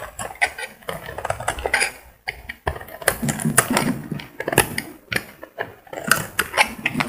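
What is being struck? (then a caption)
Bar of soap. A solid cream bar of soap held in the hand is shaved along its edge with a metal utility blade, scraping off curls. A run of short, dry scraping strokes crackles with bright, crisp texture, each stroke fading quickly with almost no ring.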